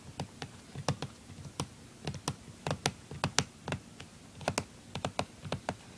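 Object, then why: Plastic handheld game console. Fingertips tap and scratch the lid of a closed, small, hollow blue plastic handheld game console resting on a wooden table, the hand often covering it. About twenty sharp, irregular taps are heard, each with a quick, dry decay, a low hollow thump and bright clicky top, over faint scratching.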